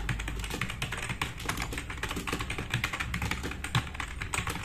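Fast typing on a compact RGB-backlit plastic mechanical keyboard with black plastic keycaps resting on a wooden desk, both hands pressing the keys quickly with fingertips. A dense, continuous stream of sharp clicky key taps rings out with bright clatter over a low thock from the keystrokes, each tap decaying quickly.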